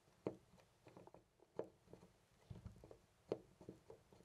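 A loose brass-finish metal door knob on a white panel door is gripped by hand and jiggled, making quiet, short metallic rattles and clicks with little ring. Three sharper clacks stand out among softer rattling, each centered in a low-mid tone around 300 Hz.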